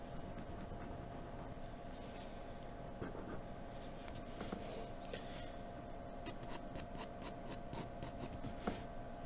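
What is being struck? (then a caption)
Graphite pencil on paper sheet. A graphite pencil makes many quick hatching strokes on a white sheet of paper, producing a soft, continuous scratching. Brighter, rhythmic strokes stand out in the second half over a quiet, steady hum.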